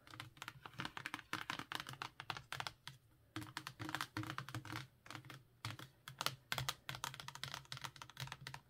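A handheld Lord of the Rings box set, a cardboard slipcase full of paperback books resting over a cloth mat, is tapped and scratched with long painted nails. Quick, dry clicking taps come in rapid, uneven bursts, with short scratchy rustles in between and brief quiet pauses.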